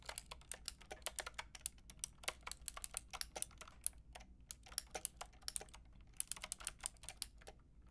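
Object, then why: Plastic mechanical keyboard with round keycaps. Long nails and fingertips type on a pink and white plastic mechanical keyboard with round plastic keycaps. A quick, steady run of short, bright clacks and taps comes in bursts, each dying away almost instantly, over a faint low hum with faint music underneath.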